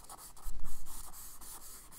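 A charcoal stick makes fast, scratchy hatching strokes across a page of a spiral kraft paper sketchbook. Dry, bright rasping comes in repeated bursts, with a low thump swelling near the middle of the clip.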